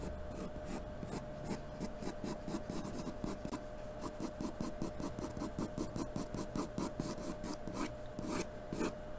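A graphite pencil is drawn back and forth across a flat sheet of white drawing paper, taped to a cardboard surface and held steady by hand, in continuous shading strokes. Each stroke gives a dry, raspy scratch, and the strokes run in a quick, steady rhythm over a faint constant tone and low background rumble.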